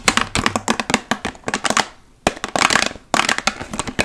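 Long nails covered in paperclips rapidly tap and scratch a large, hollow, partly filled clear plastic water bottle. Quick bursts of sharp, bright clicks and scraping fill the clip, with brief pauses near the two- and three-second marks. Each click dies away almost instantly.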